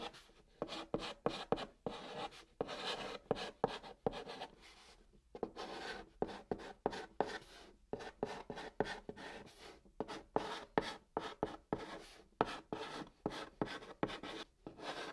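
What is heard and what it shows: White chalk writes Korean text across the top of a brown cardboard box, scratching over the surface. The clip is a quiet, steady run of dry, gritty strokes, punctuated by many short, sharp taps as the chalk meets the board. The scratches are mostly in the mids with a bright edge, and each one stops dead with almost no ring.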